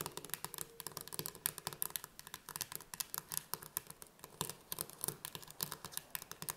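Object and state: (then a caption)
Steel food can. Long painted nails tap and scratch the pull-tab metal lid of a sealed, full steel can of chickpeas standing upright on a table. About 43 quick, bright clicking taps come in an irregular run, each dying away almost instantly, with a soft scratching texture between them.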